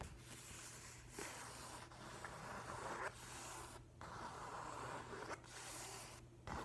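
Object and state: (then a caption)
Hardcover paper book being rubbed. An open hand and fingertips rub and scratch across the paper surface of a large, flat hardcover book with a printed nautilus cover. Quiet, continuous dry scraping strokes follow one another, broken by brief pauses, over a steady low hum.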